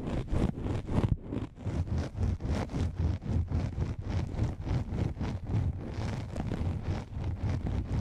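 Long manicured nails scratch and tap the surface of a soft, hollow black nylon fabric lens pouch. The result is a steady run of quick, rhythmic, muffled scratching strokes, mostly low and dull, with a faint brighter rasp on each stroke.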